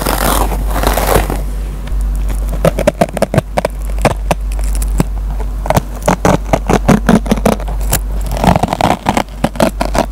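A dry yellow foam kitchen sponge with a green nylon scouring pad is scratched with fingernails, then its fibers are picked at and scratched with a metal-tipped pen. Rough, rasping scrapes give way to dozens of quick, sharp crackling ticks over a steady low hum, with the scraping swelling again near the end.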